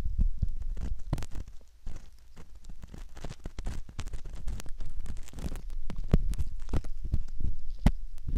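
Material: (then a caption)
Silicone. A metal ear pick scratches inside the canal opening of a soft silicone ear model, making close, muffled scraping and rubbing with many short, dull, low-pitched thumps in an irregular rhythm. Occasional brief bright clicks cut through the deep, boomy scratching.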